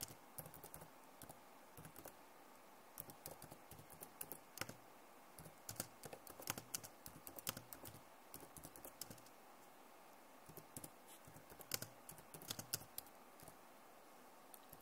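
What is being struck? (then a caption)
Plastic laptop keyboard. Both hands type very fast with long nails on a backlit plastic laptop keyboard. Quiet, bright, dry key clicks patter in rapid bursts with very short decay, easing briefly around the ten-second mark before picking up again.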